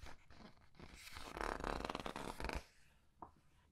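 Several paper pages of a large art book are flipped and squeezed between the fingers. Soft rustling builds into a dense, crinkly papery burst in the middle, then fades to quiet handling with one small tick near the end.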